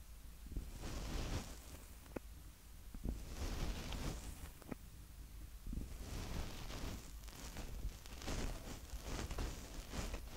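Fingertips of both hands tap and rub the two top mic capsules of a small black plastic Tascam DR-05X handheld recorder. The result is close, muffled rustling and scratchy rubbing over a constant low rumble, with sharp, brief taps and bursts of bright friction noise that rise and fall throughout.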